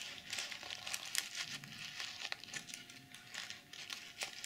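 Fingernails scratch across the plastic sequins of a BH Cosmetics mermaid sequin makeup pouch, flipping them from pink to silver. The result is a dry, bright, crinkly scratching with a rapid patter of sharp ticks and almost no low end.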